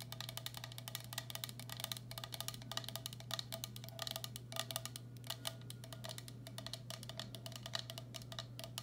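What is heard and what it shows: A medium, hollow, empty turquoise speckled glazed ceramic bowl is held upside down while long black acrylic nails tap its base and sides. The result is a steady stream of quick, quiet, bright clicking taps with very short ring, over a constant low hum.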